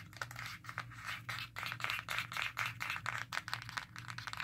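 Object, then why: Plastic handheld game console back. Long nails rapidly tap and scratch the black plastic back of a Nintendo Switch handheld console with orange Joy-Con, held in both hands. The result is a fast, irregular stream of bright, crisp clicks and scratchy rasps over a faint, steady low hum.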